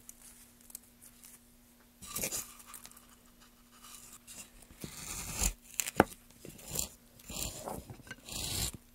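A metal gouge held in gloved hands carves grooves into a solid, light wooden plank. Short bursts of bright scraping and crunching cut into the wood, separated by quiet pauses, with a faint steady low hum underneath.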